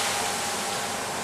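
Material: Nothing is struck.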